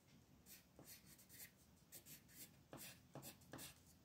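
An orange wooden colored pencil rubs and scratches in small strokes around the centre of a mandala on a flat printed paper coloring sheet resting on a desk, while the other hand holds the sheet. Bursts of bright, papery scratching come and go at an uneven pace, with several sharper strokes toward the end over a quiet background.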